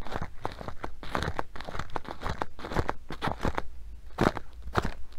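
Long nails scratch the fabric and black velcro strap of a filled blue nylon sandbag. The result is a quick series of dry, crackly, crunching rasps with short, broadband bursts, each stopping almost at once.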